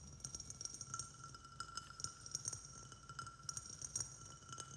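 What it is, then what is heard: Ceramic plant pot tapped. Fingertips tap rapidly around the outside of a small white glazed ceramic plant pot with a saucer, filled with soil and a snake plant. The quick, light clinking taps give short, bright, high-pitched rings that die away almost at once.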